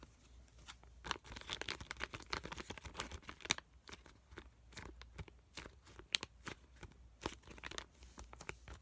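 A small, full tan sheet mask packet with an avocado print, made of foil/plastic laminate, is squished and tapped with fingertips and nails. It gives off bright, dense crinkling with sharp clicky taps scattered throughout and a faint low hum underneath.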